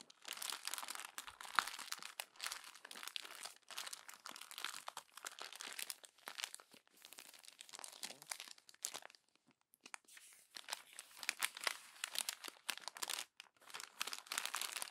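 Glossy paper magazine pages are scrunched by hand while fingertips rub the crumpled stack, making dense, bright crinkling and crackling bursts with almost no low end. The crackles come in uneven clusters across the clip, with a brief lull just before the midpoint of the second half.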